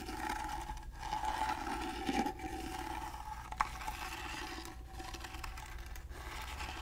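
A gold-painted carved wooden box, held at an angle, has its carved sides scratched with fingernails. The result is a steady, raspy scraping with a tonal hum near 850 Hz and a low rumble underneath. The scraping is broken by short pauses and a brief sharp click.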